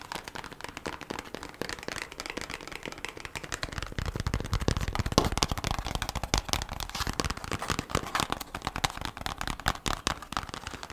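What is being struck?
Thin kraft cardboard sleeve.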